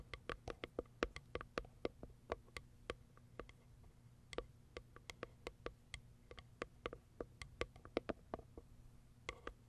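Long acrylic nails tap quickly on the top and plastic window of a small white Kiara Sky cardboard box. The taps are crisp, dry clicks with bright tips and a hollow midrange knock, coming in an uneven, steady patter over a faint low hum.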